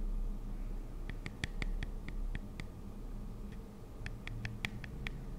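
Long acrylic nails tap and scratch a pink Nuxe cleansing-foam pump bottle, a hollow plastic body with a clear plastic cap, held in the hands. Short, dry, bright clicks come in two quick bursts with a pause between, each dying away almost instantly over a steady low rumble.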